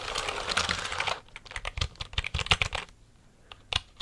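A full-size black plastic computer keyboard is held close to the mic while fingertips with nails type and tap on its keys. The first second brings a dense burst of rapid, bright plastic clicks, followed by a sparser run of separate sharp taps with quiet gaps between them.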